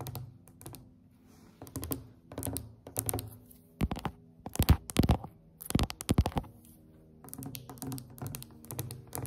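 Long decorated acrylic nails on both hands tap quickly on a glossy varnished solid wooden tabletop. The taps come in rapid clicking bursts with short, dull thuds underneath and pauses between the flurries. Each tap dies away almost at once.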